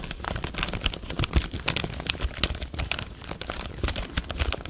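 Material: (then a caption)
Plastic. A full-size black plastic computer keyboard is held diagonally by the microphone while fingertips tap and press its keys. A quick, uneven stream of short clicks and soft thuds follows, each tap with a low thump and a bright plastic edge that dies away almost at once.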